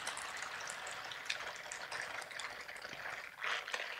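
A pair of silicone bristled scrubber gloves, worn on both hands, has the bristle palm pads rubbed and stroked against each other. The result is a steady, bright, hissing scratch with faint wet-sounding crackles and a few sharper ticks, swelling briefly louder near the end.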